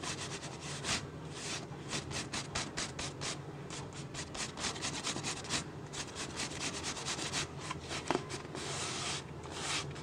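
Fingertips and nails rub and scratch the ribbed sides of an empty, hollow, clear PET plastic water bottle held in the hand. The result is a steady, bright, hissy scratching made of quick repeated strokes, with one sharper click near the end.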